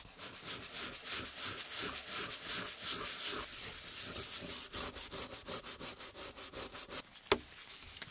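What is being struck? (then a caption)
Wooden board. A flat, solid wooden baseboard from a rare 1908 typewriter, resting on a paper-covered table, is scrubbed and rubbed with a brush and gloved hands. The clip is a steady run of quick, bright, hissing scrub strokes at roughly three per second, ending in a brief pause and a single sharp tap.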